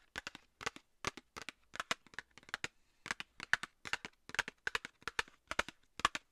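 A small, hollow, rectangular Nivea cardboard cosmetics box is held in one hand near the microphone and tapped with long nails. The taps are sharp, bright, papery clicks that fall in quick pairs and clusters, roughly 34 in all, each dying away almost instantly.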